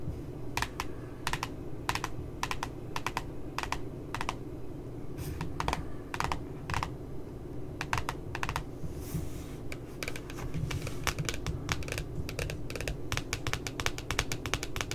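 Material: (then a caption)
Cardboard. Long nails tap near the bottom edge of a spiral notebook's glossy cardboard cover, making quick, light clicks in uneven bursts over a steady low hum. Each tap is short and dry, with a bright edge that fades almost at once.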